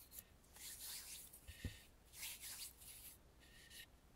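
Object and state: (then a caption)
Carved wooden mask being rubbed. Fingertips and nails rub and scratch over the carved face of a red lacquered, hollow, carved and painted wooden mask. The result is a series of soft, bright, airy scraping strokes, with a couple of brief low knocks near the middle.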